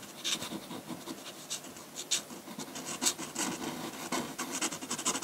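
A metal dip pen nib scratches dense hatching onto a large flat sheet of white drawing paper. The sound is a run of quick, bright, dry scratching strokes with almost no low end, each stroke dying away almost at once.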